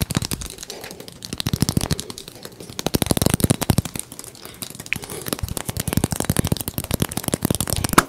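A small teal hollow plastic egg shaker, possibly holding beads, is held in the hands, tapped with the fingertips and shaken close to the mic. Rapid dry taps and clicks come in uneven bursts, with soft rattling and bright crackle over low, muffled thumps.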